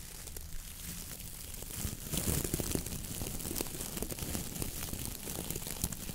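Long nails and fingertips scratch and rub the stiff brown coir bristles of a round coconut fiber dish brush head on a wooden handle. It makes a dense, continuous crackling and crinkly scratching with a low rumble underneath, growing louder and busier after about two seconds and staying steady to the end.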